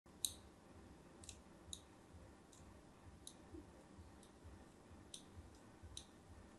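A thin metal blade, held by a hand with long pink nails, scores diagonal lines across the embossed face of a solid, cream-coloured, palm-sized bar of soap held in one hand. It makes a series of quiet, short, bright scratching clicks, spaced irregularly. A low background rumble runs underneath.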